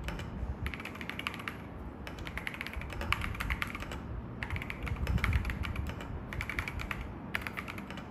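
An assembled mechanical keyboard with AKKO V3 Cream Yellow Pro switches and grey, white and yellow plastic keycaps in a dark metal case, with a tablet behind it, is typed on with the fingertips of one hand during a typing test. Bursts of quick, crisp, bright keystroke clacks come in runs separated by brief pauses, each stroke dying away at once, over a low background rumble.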